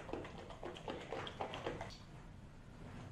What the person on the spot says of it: can't hear the cream sloshing around in the jar anymore